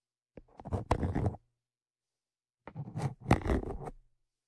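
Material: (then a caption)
Metal. Tweezers scratch across the top of the metal X/Y microphone capsules on a Zoom H5 recorder, making close, low-heavy scraping and rubbing noises. They come in two bursts, each about a second long, with short clicks and taps mixed into the scratching.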